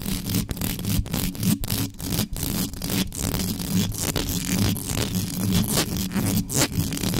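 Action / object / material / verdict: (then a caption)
scrape / metal mesh microphone grille / metal mesh / none. Long yellow nails on both hands scratch the hollow mesh grille of a black metal USB microphone quickly and intensely, with no cover on it. The result is a dense, continuous scraping and rustling with a heavy low-end rumble, broken by brief dips in the scratching and irregular bursts of bright grit.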